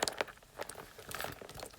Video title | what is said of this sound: Tapping only on Pink Princess stuff 💕 #Y2K #ASMR | like leather sounds it's not leather it's faux leather